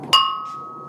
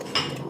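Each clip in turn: First: sound (uncracked) faience bowl. Second: cracked faience bowl.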